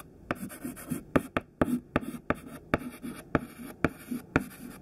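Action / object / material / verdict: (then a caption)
scrape / chalk stick on chalkboard / chalk / none. A thin white chalk stick held in the fingertips writes words in a list on a black chalkboard. Short scratching strokes are punctuated by about ten sharp, dry taps as the chalk meets the board, with a faint low rustle between strokes.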